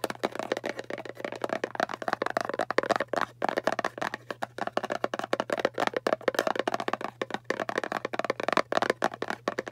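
A small, hollow, round kraft cardboard (papier-mâché) box is tapped quickly on its lid face with the long painted fingernails and fingertips of both hands. The result is a dense, uneven stream of dry, hollow clicks and taps centered in the mids, with no ring after each hit. A faint steady low hum sits underneath throughout.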